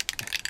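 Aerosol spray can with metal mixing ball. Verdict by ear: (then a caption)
Loose. An aerosol can of primer, used to paint a repaired Suzuki trackbike fairing, is shaken before spraying so its mixing ball blends the filler into the binder rather than leaving mostly binder to spray. Quick, bright, clicky rattles of the ball striking inside the can repeat through the half second with almost no low end. The ball rattles freely, as it should.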